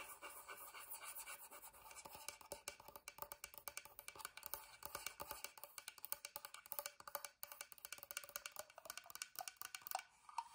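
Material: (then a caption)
Wood. A wooden box is tapped and scratched quietly with rapid, dense, dry clicks and scraping. The sound is bright and thin with almost no low end, and each tap dies away almost at once around a mid tone near 750 Hz.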